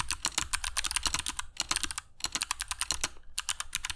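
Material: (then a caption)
Plastic. Fingertips of both hands type continuously on a compact black mechanical keyboard with dark PBT plastic keycaps and Kailh Box Jade switches, resting on a cork desk mat. The result is rapid, sharp, bright clicky keystrokes that die away almost instantly, coming in quick runs broken by brief pauses.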